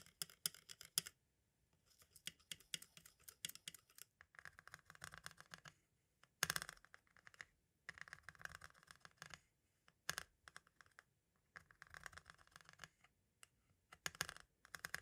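A pointed tool tip taps rapidly on the holes, label and window of a small, hollow white plastic audio cassette shell. The result is quiet, dry, bright clicking and scratchy ticking in quick clustered bursts separated by short pauses, with little low end and almost no ring after each tap.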